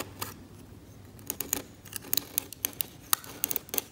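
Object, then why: Varnished oil painting on canvas scraped with a steel scalpel. A steel scalpel blade scrapes varnish off a flaking, varnished oil painting on canvas. After a quiet start, a rapid series of short, sharp, bright scratches and ticks sounds, each dying away almost at once, with faint hiss between strokes as the varnish comes away.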